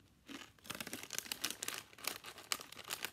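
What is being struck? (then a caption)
Foil-lined plastic chip bag. A small, hollow, seemingly partly full Cape Cod chip bag of foil-lined, metallized plastic film is gripped in one hand and crumpled and crinkled by the fingers. After a brief quiet start, a quiet run of sharp, bright crackles and crinkles follows, with almost no low end and each snap dying away instantly.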